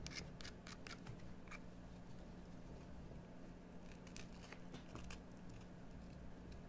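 A metal carving tool scrapes a solid green bar of soap carved into a bone-like shape, making quiet, crisp, bright scratches and clicks in quick bursts. A steady low hum runs underneath throughout.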